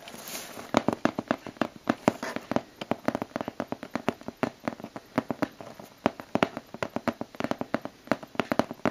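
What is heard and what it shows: Long blue-painted nails tap and scratch across the taped top of a closed, hollow brown cardboard shipping box sealed with clear packing tape over a torn white label. A steady stream of quick, dry, clicky taps with almost no ring comes in irregular bursts, with a soft scratchy rustle between them and near the start.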